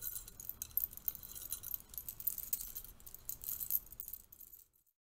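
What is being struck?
Stack of thin metal curtain rings.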